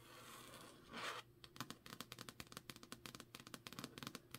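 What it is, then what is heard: Paperback book cover. Long nails scratch and tap the card cover of a thick, solid Jade City paperback held in the hand. A soft, bright scratching hiss builds to a louder swipe near one second. About twenty quick, crisp clicking taps follow to the end over a faint low steady hum.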